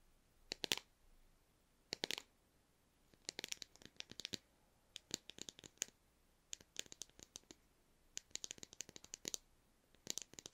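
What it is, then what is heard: Plastic tablet tube. A small white plastic effervescent-tablet tube with a snap cap, held in the hands, is tapped with the fingernails and possibly shaken. Quick, dry, bright clicks come in about seven short clusters, each with no ring and very little low end.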